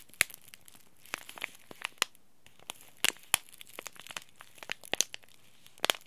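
A small green laminated plastic-foil tea bag packet is crinkled and rubbed between the fingers and thumb. It gives quiet, irregular bursts of sharp, bright crackling with very short, dry snaps. The crackles come in uneven clusters with soft rustling in between.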